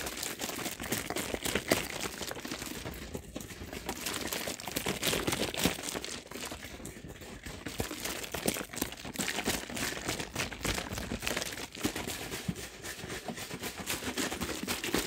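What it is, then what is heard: Plastic drink bottle crinkling. A large plastic soft-drink bottle with pale liquid inside is moved around, squeezed and shaken, so its plastic crinkles. Dense, irregular crackles and crunches run continuously for the whole clip with bright, broadband texture and no steady rhythm.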